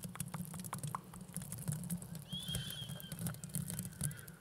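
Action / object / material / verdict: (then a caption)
scrape / plastic mesh velcro hair rollers / plastic / none. Two small, hollow blue plastic mesh velcro hair rollers, held at both sides of the microphone, are rubbed and scratched with fingers and long nails. The result is a quiet, dense crackle of bristly scratching over a steady low rumble, with bright ticks throughout and a brief thin squeak in the middle.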